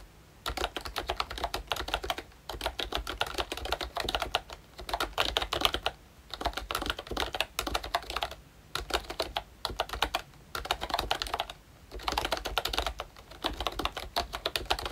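Fingertips type steadily on a full-size Disney Mickey Mouse retro plastic membrane keyboard by ROYCHE, with round plastic keycaps and a hollow plastic case. Bursts of quick, bright, hollow clicks and clacks are separated by short pauses, and each keystroke is dry and brief.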